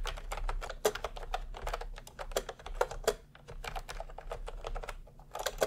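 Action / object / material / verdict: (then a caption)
tap / plastic round-key keyboard / plastic / none. A plastic retro round-key keyboard is typed on steadily with the fingertips of both hands, producing a quick run of light, clicky key taps with a mid-pitched clack and short decay over a low background hum.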